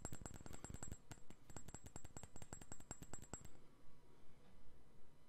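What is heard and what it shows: A clear rectangular glass perfume bottle with a cap, hollow and partly filled, is held in one hand and tapped with the fingertips and nails of the other. Quick, fairly regular clicking taps with a faint bright glassy ring run for about three and a half seconds, then give way to softer, duller tapping.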